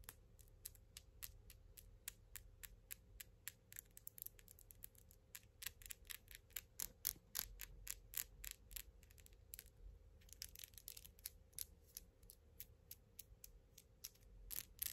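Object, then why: Acrylic fingernails. Long gold glitter acrylic nails are tapped and rubbed against each other between both hands, nail on nail. The result is quiet, bright, dry clicks in a rapid, uneven rhythm, with a stretch of softer scraping rubs partway through. A faint steady low hum sits underneath.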